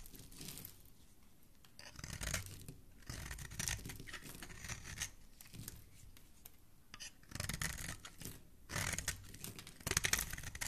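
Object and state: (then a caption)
Bar soap being shaved with a blade. A metal utility-knife blade shaves and scrapes the surface of a solid, palm-sized green bar of soap held in fingers with dark-painted nails, peeling off curls and crumbs. Dry, crisp scraping comes in short repeated strokes, with a soft low rumble under a bright, hissy rasp and quiet pauses between bursts.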